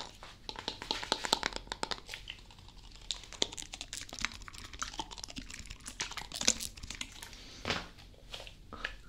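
A hollow blue plastic Prime drink bottle is held close and squeezed and tapped with fingertips and nails. Dense, bright crinkles and quick clicky taps come in irregular bursts, with a few louder crunches toward the end. The result is sharp, high plastic crackling with little low end.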